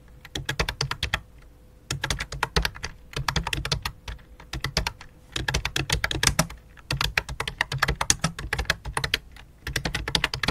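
Both hands type with long dark nails on the fingertips across a full-size white and light-blue plastic computer keyboard resting on black cloth. Rapid, bright, clicky key taps come in quick bursts separated by short pauses, with a faint steady tone running underneath.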